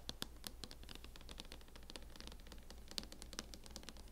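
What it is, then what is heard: Plastic laptop hard-shell case. A fingernail scratches across the lid and edge of a closed MacBook in a mint matte plastic hard-shell case. It makes a quiet, steady run of fast, bright scratching ticks with a few sharper clicks standing out. Each tick dies away at once.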